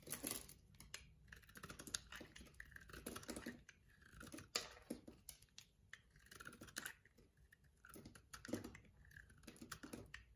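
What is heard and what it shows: An orange-handled box-cutter blade slices a thin slab off a solid white soap bar held in the hand. The cut produces quiet, dense bursts of crisp scraping and crackling, with bright, brittle snaps rising above a soft low background hum.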